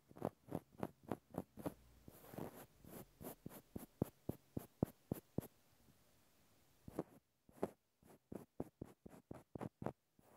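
A small, solid, cylindrical natural cork stopper is held in the hand while its top face is tapped and scratched with a fingertip and fingernail. About 25 soft, dull, short taps come in quick uneven runs, broken by a brief rasping scratch near the start and a quiet pause before the tapping resumes.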